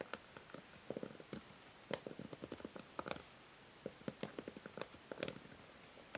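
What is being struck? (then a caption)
Plastic hair brush. Long nails scratch and strum the white plastic bristles of a pink plastic hair brush. The result is quiet, dry, rapid clicking and ticking in short clustered bursts, with a midrange body and a few brighter snaps, separated by near-silent gaps.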